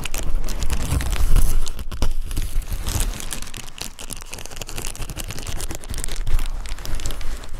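Fingertips and nails scratch and pinch the bubbles of a clear plastic bubble wrap sheet resting on a dark surface beside a foam-covered microphone. Dense, continuous crinkling and scratchy crackles carry over a heavy low rumble, peaking near the start and easing off toward the middle before rising again.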